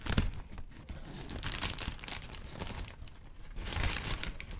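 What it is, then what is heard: Crinkled paper sheet. A thin white wrinkled sheet of paper is held and crinkled with the fingers. A steady, dense crinkling and crackling runs throughout, with bright, sharp crackles that swell in bursts near the start, the middle and toward the end, over a soft, low rustle.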